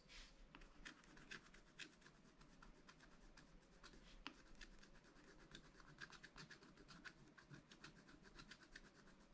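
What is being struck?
Wax-coated scratch paper scraped with a wooden stylus.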